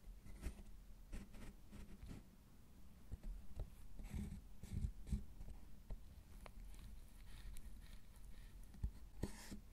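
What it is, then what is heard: Milk chocolate bar being carved. A metal loop carving tool scrapes shavings off the surface of a solid milk chocolate bar. Quiet, dry scraping strokes with short crisp bursts rise over a low, muffled rumble, each fading almost instantly.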